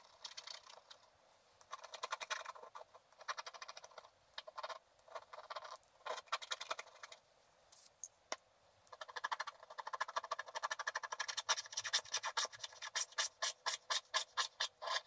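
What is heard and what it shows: A wooden stylus scratches away the coating of a flat, black-coated scratch art paper card over an owl's body. Quick, dry, scratchy strokes come in bursts with short pauses. The rasping sits high and bright with almost no low end, and the strokes get faster and more rhythmic toward the end.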